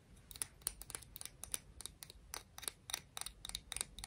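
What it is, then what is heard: Conch shell tapped and scratched. A conch shell is tapped and scratched, giving a quiet, irregular series of about 18 sharp, bright clicks with almost no ring. Faint scraping fills the gaps between the clicks over a soft low rumble.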